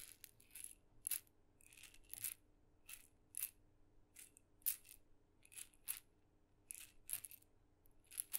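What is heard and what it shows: A single small, hollow, red-dotted painted wooden mini maraca is shaken and tapped with fingernails close to the microphone. It makes quiet, irregular bursts of dry, bright rattling that stop almost at once, over a faint low hum.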